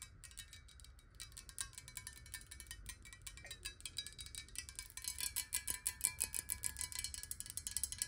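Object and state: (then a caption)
Glass water bottle. Long nails tap rapidly and unevenly on the sides of a square, clear glass bottle holding water, first tilted and then upright. The taps make quiet, bright clinks that die away almost instantly, over a faint low rumble, and they grow slightly louder and denser toward the end.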